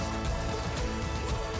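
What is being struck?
Nothing is struck.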